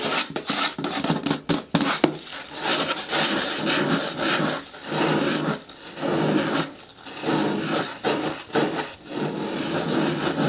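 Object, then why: Plastic bin with lid. Long nails scratch the lower sides of a medium-hard, hollow green plastic bin with a lid. Quick sharp ticks open the clip, then give way to rasping, bright scratching strokes that swell and fade in repeated waves over a hollow plastic resonance.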